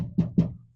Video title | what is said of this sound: Chevy GMC Squarebody Door Panel Installation Tutorial - AMD Blazer Door Panels | it's already dead on the inside. That when you tap the door, you can already hear the difference.